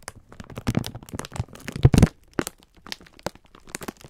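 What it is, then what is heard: Plastic-wrapped pack of sponge scourers. Fingertips press, squeeze and rub the thin clear plastic wrapper around a full pack of sponge scourers. Dense bursts of crinkling and crackling mix with soft, low thumps. The loudest cluster comes around two seconds in, then the sound thins into sparser, sharp crackles.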